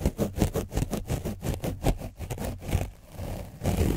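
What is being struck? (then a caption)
Foam microphone windscreen coated with dried paint, rubbed with a foam brush. A foam brush is rubbed over the front and back of an orange foam microphone windscreen coated with dried paint. Rapid, repeated scratching strokes come through as deep, muffled rumbling thumps with little brightness. The strokes ease briefly near the end before picking up again.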